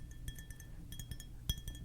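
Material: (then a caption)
Glass. A glass object is tapped with long fingernails and fingertips, giving bright, short clinks with a steady high ring over a low background hum. About ten quick taps are heard, with one louder clink near the end.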